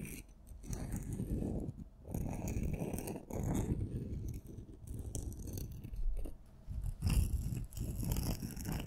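A purple and a red glitter-coated solid wooden pencil are crossed and rubbed and scraped against each other by fingers with long nails, then held together side by side. A close, low, gritty scraping and rustling comes in uneven bursts, with faint bright scratchy edges over a mostly deep, muffled texture.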